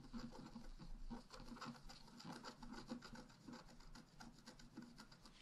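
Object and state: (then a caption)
Scratch-art paper being scraped. A wooden stylus point scratches across the black coating of a flat A4-size scratch-art paper sheet with a rainbow layer beneath, lying on a table while the other hand holds the sheet. Quiet, dry rasping strokes follow one another in a steady rhythm, with a low-mid scraping tone and bright papery grit that stops quickly with no ring.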